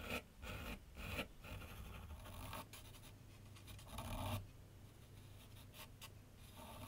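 A graphite pencil sketches lines across a large flat sheet of white paper resting on a board on an easel. Bursts of dry, bright scratching come with each stroke over a low, steady rumble, with a longer, louder stroke near the middle before the marks fade to quieter scraping.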